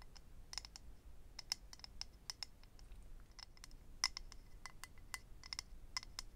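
Medium-length natural nails tap and scratch a small, hollow, rectangular clear acrylic eyelash case holding rows of lash strips, held in the hand. Quick, irregular, sharp clicks with a bright, high ring die away almost instantly over a faint scratchy hiss.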